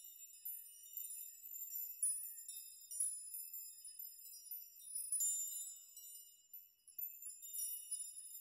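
Strands of hanging metal nails are gently rocked with the fingertips so they chime against each other. The result is a quiet, continuous, overlapping tinkle of bright, high metallic pings with short rings and no low end.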